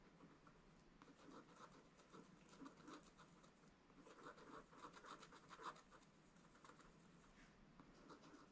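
A wooden stylus scratches the black coating off a scratch-art page in a spiral-bound book lying flat on a table, held by one hand, revealing the colour underneath. Quiet, dry, continuous scratching is heard, with brief louder strokes and a bright, papery rasp.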